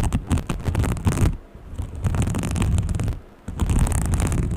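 Long painted nails scratch along the ribbed surface of a small green textured fabric case held in both hands. The result is a dense, low, rumbling scratching texture in rapid strokes, with two brief quieter pauses before the scratching resumes.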